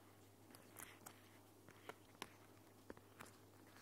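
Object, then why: Thin plastic protective film sheet. A thin, clear, flexible, hand-sized plastic protective film sheet, held up in both hands in front of the recorder, is crinkled, rubbed and scratched with long painted nails and fingertips. About eight sharp, bright crackles and clicks come at irregular intervals over soft rustling. A low, steady hum sits beneath the quiet sound throughout.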